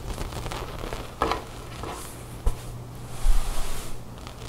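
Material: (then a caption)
Cotton knit. Long nails scratch and rub with fingertips across a cream loose-knit cotton sweater folded on a wooden table. A soft, low, steady rustle runs throughout, broken by a few sharper scratchy bursts where the nails drag over the knit.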